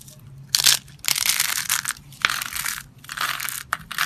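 A handful of thin, brittle, solid white dry-soap petals and flakes, with scattered yellow shreds mixed in, is crushed and crumbled between fingertips and palms with manicured medium nails over a dark surface. The result is a series of bright, dry crunching and crackling bursts with almost no low end, each breaking off sharply between quieter pauses.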